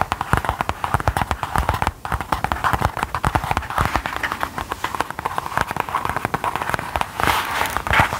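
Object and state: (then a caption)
Faux leather wallet. A small, thin, soft gold metallic faux leather folding wallet or pouch is held in the hands and tapped and scratched with long gold claw nails. Rapid, dry, crisp taps with very short decay mix with soft scratching, centered in the mid range around 820 Hz.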